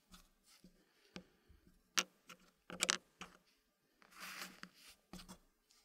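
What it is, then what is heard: Wooden puzzle pieces placed in a wooden tray. Fingertips place small, solid wooden puzzle pieces into a green-painted wooden frame, making light, bright ticking taps of wood on wood at an uneven pace. A brief sliding scrape comes near the end as a piece settles. Each tap is short and dry, with almost no ring and very little low end.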